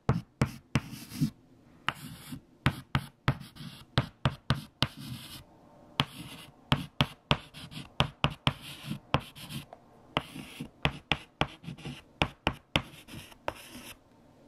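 A hand writes numbers with a stick of white chalk on a large, flat, freshly erased black chalkboard. Sharp, short taps and scratchy strokes, 27 in all, sound over 14 seconds, each with a bright scrape over a low thud and almost no ring.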